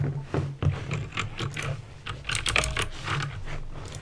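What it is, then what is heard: Plastic mechanical keyboard with clicky switches. Fingertips with painted nails type on a backlit plastic mechanical keyboard with clicky green switches. Quick, bright clicks and clacks come in an uneven, steady stream over a low, constant hum.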